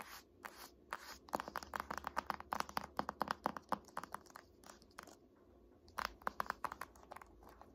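Long nails and fingertips tap and scratch the glossy front cover of a large, solid "Art History" hardcover paper textbook. Quiet, sharp clicks with bright papery scratching come in quick, irregular bursts, centred around a midrange tone. A brief lull near the five-second mark is followed by another run of taps.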